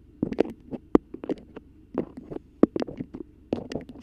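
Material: Waxed cotton.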